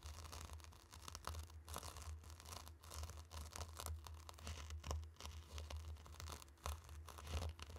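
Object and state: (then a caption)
Fine dry sand being stirred. Two round wooden sticks stir and press into a tray of loose, dry, fine pink and orange sand. The grains give a close, steady mix of crunching and swishing with short scraping bursts, over a low hum.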